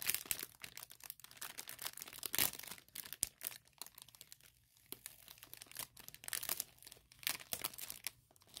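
Long nails scratch and crinkle a thin clear plastic product bag with printing. The film gives off crisp, bright crackling and rustling in quick bursts, broken by brief quiet gaps.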